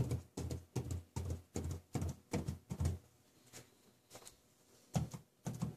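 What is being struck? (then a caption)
Paper sheet on a tabletop tapped with plastic fingertip caps. Plastic marker tips worn on the fingers tap repeatedly on a large flat sheet of drawing paper lying on a table, leaving dots, while stones rest on the paper untouched. The result is quick bursts of dull, low, muffled thudding taps that fade to a few softer patters in the middle and then return louder at the end.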